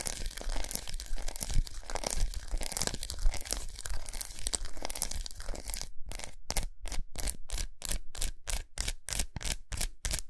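Long nails scratch and tap a large unwrapped solid milk chocolate bar with raised squares resting on a towel. For about six seconds there is dense, continuous crinkly scratching, then it shifts to a fast, regular run of short, bright taps separated by brief silences.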